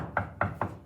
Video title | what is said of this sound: P1051 F2023 Lecture 6 | if you knock on a desk, you you can hear the sound travel through the desk